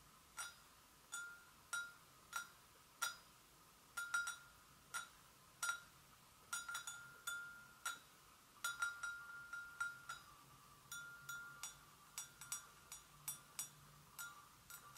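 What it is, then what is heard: Porcelain gravy boat. Long nails gently tap the sides and handle of an empty, hollow white porcelain gravy boat in a steady, irregular series of light clicks. Each tap gives a short, bright clink with a faint ringing tone around 1.4 kHz that fades quickly. The taps come over a soft, quiet background.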